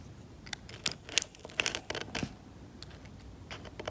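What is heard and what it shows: A metal scalpel is dragged across the cracked, varnished paint of an oil painting on canvas, scraping the paint off. Quiet, dry, bright scratching comes in short, irregular bursts, with a few sharper flicks and no ring after each stroke.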